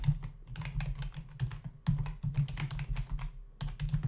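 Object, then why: Plastic membrane keyboard. Fingertips of both hands rapidly type on a black plastic membrane desktop keyboard with hollow key caps. The result is a quick, uneven run of short, dull clacks, each with a soft low thud and a faint bright click that dies away almost at once, with brief pauses between bursts.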